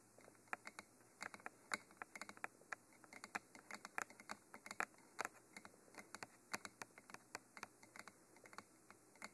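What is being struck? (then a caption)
Textured cylindrical microphone body and metal cage. Fingernails tap and scratch the silver cage ends of a Mitra textured black cylindrical binaural microphone, a hollow textured cylinder. The result is a quiet, rapid, uneven stream of sharp, dry clicks and brief scrapes with a bright, crisp edge and almost no low end, each one dying away instantly.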